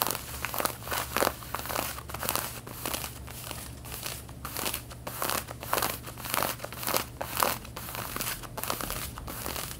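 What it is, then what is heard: Denim jeans being scratched. Long red-painted fingernails scratch the back pockets of worn light blue denim jeans, giving a dry, rough, bursting scrape that comes in uneven strokes. The scratching crinkles with bright rasping texture over a steady low hum.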